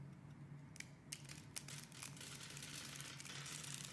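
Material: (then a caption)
Soap. A hand-sized, solid white rectangular soap bar with an embossed face, held by fingers with red nails, is cut and scraped with a metal knife blade so small cubes and flakes fall off. Quiet, bright crunching and scraping sounds start with a few sharp crisp snaps and then blend into a steady dense rasp over a low, constant hum.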